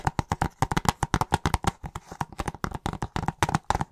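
Fingertips and nails tap and scratch across the cover of a hollow plastic video game case held upright and tilted. About two dozen quick, dry, hollow taps come in a fast, uneven rhythm, each with a clicky tone near 836 Hz and almost no ring. Softer scratching fills the gaps, most clearly around the two-second mark.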